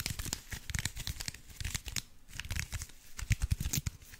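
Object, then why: Block wrapped in aluminium foil. Fingernails scratch and crinkle the aluminium foil covering a cube-shaped block, making a strong crinkling sound. Dense, dry crackles and tearing-like rustles come in quick uneven bursts, bright on top with a low, soft thump underneath, and each crackle stops almost instantly.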